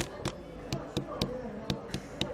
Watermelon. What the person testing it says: you can tap the watermelon and you feel that it there is a kind of vibrating inside and it goes into your arm so that means that it also has a great extent of ripeness